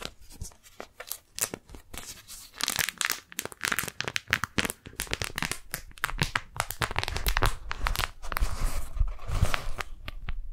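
Fingertips and long nails peel the sticky folds of a thin pink daisy-print beeswax-coated cotton food wrap apart, crinkle it, then open it flat. Dense, sharp crackles and tacky tearing sounds come in quick bursts, with bright crinkling over soft low handling thumps that grow fuller toward the end.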